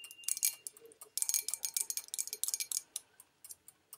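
Long nails tap the outside and rim of a small, empty white porcelain bowl held at chest height. Quick, bright clicking taps come in rapid clusters and then thin out, each a sharp high tick with almost no ring.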